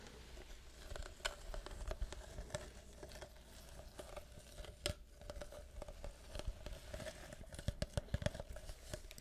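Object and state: Plastic syrup bottle.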